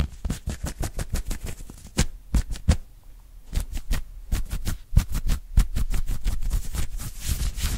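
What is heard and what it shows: Fingertips and short nails of both hands scratch quickly at an open-weave knit cotton polo shirt worn on the chest. The result is a fast, uneven run of short, dry scratching bursts with a soft low thump under each stroke and a brief lull near the middle.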